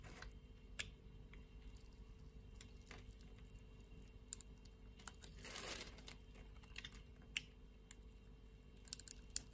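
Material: Soap.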